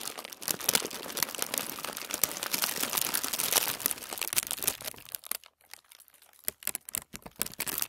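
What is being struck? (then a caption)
Thin tissue paper sheet. A large, thin sheet of tissue paper laid on a table is gathered and crumpled under both palms and fingers, then smoothed flat. Dense, bright crinkling and crackling fills the first half. It thins out into sparser, quieter rustles and soft crackles as the sheet is flattened.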